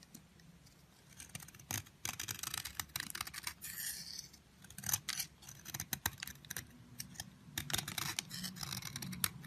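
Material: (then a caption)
Soap. A metal utility blade repeatedly scrapes dry, crumbly flakes off a solid yellow bar of soap held in the hand. The short shaving strokes make bright, dry, crisp scraping sounds with almost no ring, rising and falling in bursts over a soft background.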